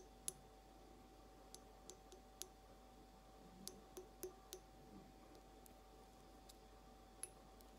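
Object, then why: Glass vase. Long acrylic nails slowly tap the rounded base of a clear, hollow, empty glass carafe vase. There are 13 sharp, bright clicks at uneven intervals, each dying away almost instantly, over a faint steady hum.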